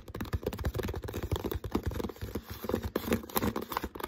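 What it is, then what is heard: Empty plastic water bottle. Fingertips and nails tap and scratch the label area and body of an empty, hollow, clear plastic water bottle with a green label and no cap. The result is a rapid, irregular stream of soft, dull, hollow taps with very short decay, weighted toward the low end around a low-mid tone, mixed with light crinkly scratching.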